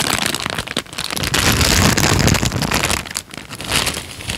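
A thin tan paper sheet is folded and crinkled, then held up flat. It gives dense, continuous crackling across low and bright tones, briefly easing near 0.8 and 3.3 seconds before swelling again.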